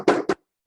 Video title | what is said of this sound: Falmec NRS Collection | this entire box is all completely insulated with this foam material so when you go to knock on it it's not hollow